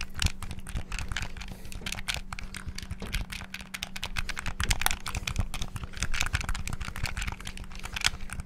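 Rapid fingertip button presses and tapping on a black, hollow plastic Xbox-style gamepad held close to the mic make a dense stream of sharp, dry clicks with bright edges. The clicks stop instantly with no ring, over a steady low hum.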